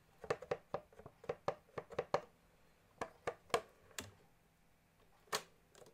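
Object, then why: Plastic accordion keys and casing. Fingertips and nails tap on the plastic piano keys and casing of a small blue pearloid accordion, making dry, typing-like clicks with no bellows playing. A quick cluster of taps in the first two seconds gives way to sparser ones, then a long pause before one last sharp tap. Each click is short and mid-pitched, with almost no ring and little low end.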